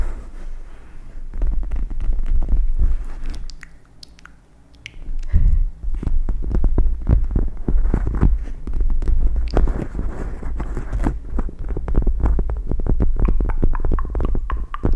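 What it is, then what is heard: Gel bead eye mask. Long red nails scratch and tap the plastic gel-bead inserts of a pink "MEOW" eye mask draped over the microphone. The result is a dense, irregular stream of soft, deep thumps and crinkly scratches with a strong low rumble, easing off briefly in the middle before picking back up.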